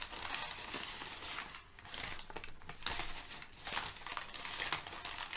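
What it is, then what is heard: Crumpled kraft packing paper. Thin brown kraft packing paper is gathered and crumpled between hands with nails, making dense, bright crinkling and crackling. The rustle runs steadily, dips briefly near the middle, then builds back with several louder crinkly bursts toward the end.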